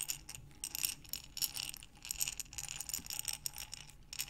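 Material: Glass.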